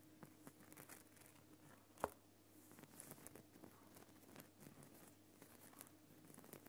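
Fingertips and nails scratch and tap the top and front of a large, solid lump of glowing pink Himalayan rock salt in a salt lamp. The result is quiet, dry crinkling and scraping with soft patters, and one sharper, louder tap about two seconds in, over a faint steady low hum.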